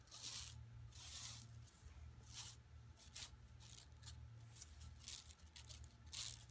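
Long nails scratch and fingers rub across the printed surface of an empty, flat yellow woven plastic mesh tote bag lying on carpet. The clip is a series of bright, hissy scraping bursts that swell and fade, over a steady low hum.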